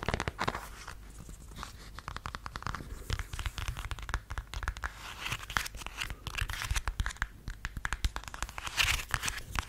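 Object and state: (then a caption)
Faux suede heeled sandal. Fingernails scratch the thin heel and the footbed of a beige faux suede stiletto sandal held upright, giving a steady run of rapid, dense scratching and tearing-like rasps. The close, dry strokes come thick and fast with little ring, carrying both a low rumble and a bright edge.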